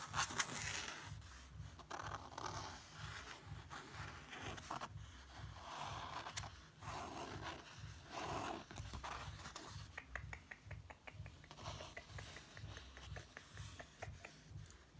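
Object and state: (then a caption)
Paper book page. Fingertips trace and rub across a paper page of an open book showing a portrait of an officer, making soft, dry scratching and swishing strokes over a steady low hum. Toward the end the rubbing turns into a quick run of light, bright ticks.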